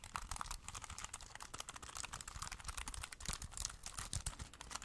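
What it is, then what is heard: Plastic keyboard being typed on. A small, slim, hollow black plastic Bluetooth wireless keyboard is held in both hands while fingertips press and tap its keys in steady typing. The result is a dense run of quick, dry plastic clicks with bright, crisp tops and a soft low thump under each press, each tap dying away almost instantly.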